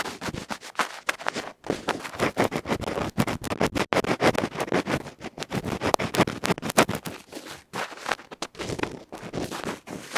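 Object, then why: Small metal microphone capsule with felt face, scraped by a bamboo ear pick. A bamboo ear pick scratches and rubs rapidly across a small metal electret microphone capsule with a felt face. Dense, irregular bursts of dry, broadband scratching and rustling crackle close and loud, with quick gaps between strokes and no ringing after each one.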